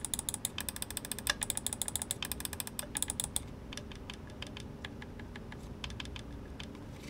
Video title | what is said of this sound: Rakk Talan AERO Review - Hotswap Battery! - TAGALOG | Walang squeaking sounds at walang umaalog.